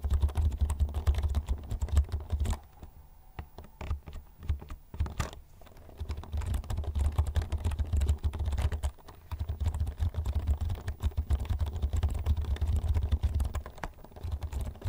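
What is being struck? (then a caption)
Plastic computer keyboard. Fingertips type on the keys of a black plastic computer keyboard held vertically in front of the mic, producing a rapid, continuous stream of soft clicks and taps with a deep low thump under them. The typing pauses briefly twice, from about 2.5 to 6 seconds and again near 9 seconds, before resuming at a steady pace.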